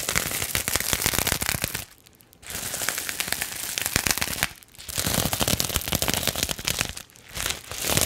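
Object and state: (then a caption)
Plastic bubble wrap sheet. Long nails scratch and crinkle the bubbles of a flat sheet of clear plastic bubble wrap held up in the air. The result is dense, bright crackling and rapid snapping in sustained bursts, broken by three short, quieter pauses.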